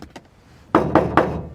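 Three hollow, ringing knocks are struck on the bare sheet-metal roof panel of a classic Chevy, before any kill mat sound-deadening mat is applied. Each knock is a sharp hit with a resonant metallic boom that lingers between strikes, after a couple of faint taps at the start. This is the untreated roof's sound, which the mat is meant to make more solid.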